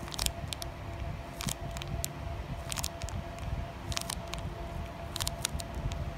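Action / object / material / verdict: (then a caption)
tap / sealed plastic foil card pack / plastic foil / none. Long nails tap and scratch a flat, sealed plastic foil Digimon Carddass EX-01 card pack held close to the camera. Crisp, bright ticks and crinkly scrapes come in short clusters over a low, rumbling background with a faint steady tone underneath.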